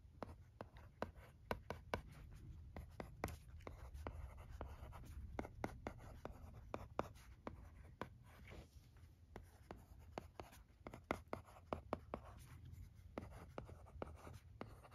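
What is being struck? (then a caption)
Plastic stylus on a plastic LCD writing tablet. A red plastic stylus writes cursive on the screen of a thin, flat, teal plastic LCD writing tablet. Many short, dry scratching strokes tick and scrape across the surface over a soft, steady low hum, quietly and continuously throughout.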